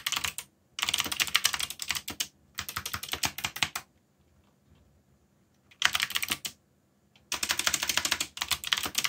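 Fingertips type rapidly on a black mechanical keyboard with yellow backlit plastic keycaps. The typing comes in dense bursts of bright, sharp clicks, separated by short pauses and one longer near-silent gap in the middle. Each keystroke is crisp and dies away almost instantly.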